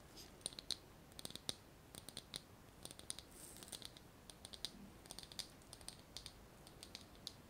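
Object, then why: Small glass jar with metal lid. Long nails tap quickly on a small glass jar with a metal lid, partly filled with small items, striking both the glass and the lid. The result is a rapid, uneven series of sharp, bright clicks and ticks that die away almost at once, over a faint steady hiss.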